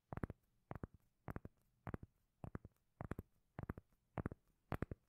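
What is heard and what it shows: A round, solid, palm-sized cork lid held in the hand is scratched and tapped with long nails. Nine quick bursts of soft, dull taps land at a steady pace, each a short cluster of muffled, low-pitched knocks with almost no ring and quiet pauses between them.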